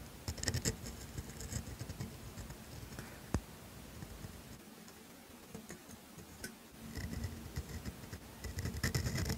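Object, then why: Steel pen nib on thin paper. A steel pointed dip pen nib in a black holder scratches cursive letters onto thin grid paper, making soft, dry, papery scratching strokes with bright edges and one sharp tick. The strokes fade to a quiet lull in the middle, then return louder and busier toward the end.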